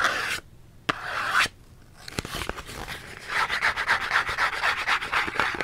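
A small printed cardboard soap box with a barcode side is held upright and scratched with the fingernails. Dry, papery scratching comes in short bursts, broken by a few sharp clicks, before settling into a quick, steady rhythm of about four strokes per second.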